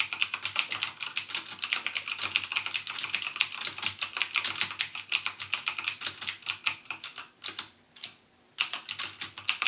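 Fingertips type continuously on a backlit plastic mechanical keyboard with plastic keycaps and Cherry MX Blue switches. The rapid stream of sharp, bright clicks centers around 2.8 kHz, with each keystroke dying away almost instantly. Typing thins out near the end, with a brief near-silent gap before the clicks resume.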